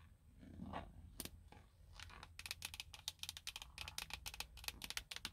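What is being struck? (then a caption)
Plastic steering wheel airbag cover. Long blue nail tips tap the hollow, hard plastic airbag cover on the center hub of a car steering wheel. A few soft scrapes and scattered taps lead into a fast run of about twenty sharp, bright, clicky taps that stop almost instantly, over a low background hum.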